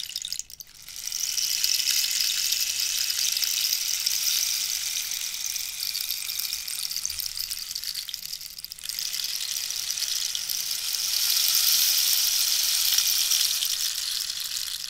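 A hollow cactus wood rainstick with pellets inside is tilted by hand while long nails tap its wooden shell. It gives a steady, bright, high rushing patter like rain in two long pours, with a brief pause near the start and another just before the second pour swells louder.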